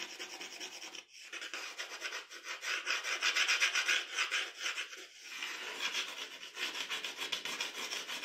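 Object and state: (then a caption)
Pencil scratching drawing paper. The graphite tip of a wooden pencil scratches across a flat sheet of drawing paper lying on a dark table while drawing strands of hair. Quick, bright, papery strokes repeat in a loose rhythm, with brief pauses near one second and five seconds.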